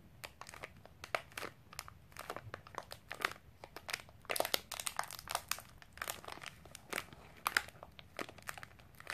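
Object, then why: Snack bar in a plastic wrapper. A sealed Milo snack bar in a crinkly plastic wrapper is scratched and squeezed with long painted nails over a wooden table. The result is a quiet, steady stream of rapid, sharp crinkles and crackles, bright and dry with almost no low end, each snap dying away at once.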